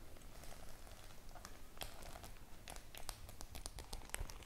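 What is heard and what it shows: Long nails tap the metal studs on a white studded faux-leather clutch bag, making a light, uneven pattering of quick bright clicks. The taps stop short with no ring, over a steady low hum.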